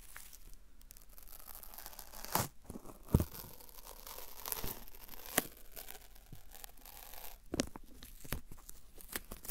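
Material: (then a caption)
Paper. A white strip of thin, flexible, sticky paper masking tape is held in both hands away from the mic and folded and crinkled with fingertips and short nails. Soft, steady crinkling runs throughout, broken by sharp, bright peeling and tearing snaps that stand out at scattered moments.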